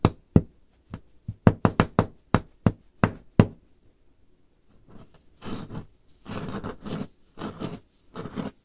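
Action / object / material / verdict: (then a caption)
tap / varnished wooden tabletop / wood / none. Long painted fingernails on both hands tap a solid varnished wooden tabletop, giving twelve sharp, dry knocks with a low woody thump and almost no ring. After a brief pause, the nails scratch across the surface in several rough, brighter bursts of friction.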